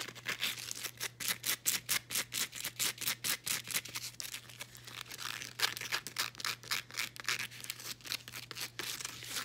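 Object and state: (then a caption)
Woven elastic fabric band. Long nails scratch and rub a folded blue woven elastic fabric resistance band. Quick, bright, scratchy strokes repeat several times a second at a soft, uneven rhythm, with a faint steady low hum underneath.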